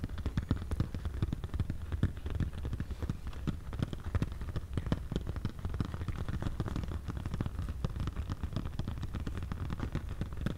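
A small spiral-bound paper desk calendar on a brown cardboard easel stand, a hollow tent shape, is held close and tapped and scratched with medium-length pink-painted fingernails. Dense, rapid tapping continues throughout, mixed with soft scratching. Each tap is a short, deep, hollow knock that dies away almost at once, and most of the energy sits in the low range.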